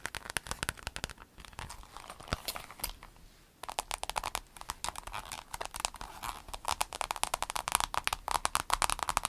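Long acrylic nails rapidly tap a rainbow clear vinyl pencil case, first while it is held and then laid flat. The result is a dense run of crisp, crinkly, bright clicks with a short quieter lull partway through before the tapping resumes steadily.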